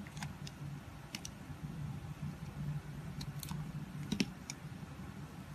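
A red box cutter blade shaves thin curls off a solid, palm-sized pink heart-shaped bar of soap with an embossed logo, held in the hand. Short, crisp scraping ticks with bright edges come at irregular intervals over a steady low hum. Each cut stops almost immediately, with no ring.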